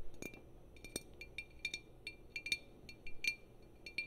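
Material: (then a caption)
Glass. Long painted fingernails tap and scratch along the neck and body of a tall green glass wine bottle with a pale label, held upright. Quick, quiet clinks sound a bright glassy tone near 2.4 kHz with faint high sparkle, each dying away almost at once. Soft scratching fills the gaps between taps.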